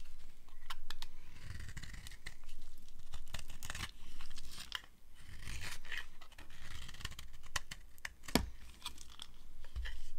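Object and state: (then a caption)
Dry bar soap being carved. A small metal blade cuts and scrapes shavings off a green-and-white striped solid dry soap bar held in hand. Irregular dry crunching and tearing scrapes repeat throughout, with short sharp clicks, bright rasping textures and a low handling rumble underneath.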